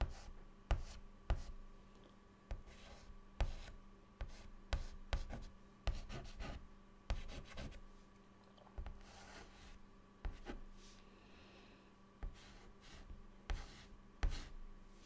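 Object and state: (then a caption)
Chalk drawing on a chalkboard. A white chalk stick held in the fingertips draws a face on a flat, dark, solid chalkboard. The clip is quiet, with a run of short, sharp taps and scratchy strokes as the chalk meets and drags across the board. A faint, steady low hum sits underneath.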